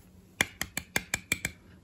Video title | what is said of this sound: ❤️ Favoris mars 2022 ❤️ + retour découvertes box du mois ….. ET concours anniversaire !!!! 🎁 | vous l'entendez ça sonne creux en fait le truc il est à moitié vide